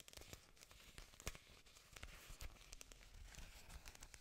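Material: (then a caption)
Plastic. Several thick, glossy green artificial orchid leaves, plastic or silicone, thin and solid, are held up close to the mic and scratched and rubbed with long pink nails and fingertips. The result is a continuous crinkly, tearing-like scratching with sharp bright clicks and soft low thumps scattered throughout.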